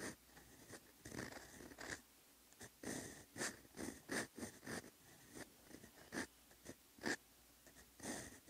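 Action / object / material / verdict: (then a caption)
scrape / paper notebook page under a steel fountain pen nib / paper / none. A steel Twsbi Eco EF fountain pen nib writes Korean letters in peach ink on a solid, lined paper notebook page lying flat. The nib makes quiet, dry scratching strokes in short bursts, with a faint tone around 1.7 kHz and bright, papery hiss. Brief pauses separate the strokes.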